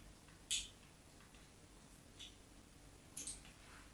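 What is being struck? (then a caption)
Soap bar scored with a metal knife tip. The metal tip of a craft knife scores shallow lines into a solid white rectangular bar of soap held on a patterned surface. Three short, bright scraping scratches stand out against a quiet hiss, the first being the sharpest and loudest.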